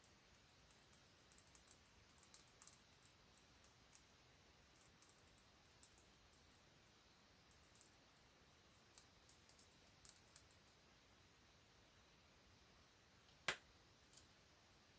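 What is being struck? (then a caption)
Plastic marker pen. A slim grey hollow plastic alcohol marker is held in both hands above a colouring page while fingertips and nails tap and click on its barrel and cap, likely taking the cap off and putting it back on. Light, bright ticks and clicks scatter sparsely over a very quiet, steady hiss. One sharper, louder click stands out near the end, followed by a faint tap.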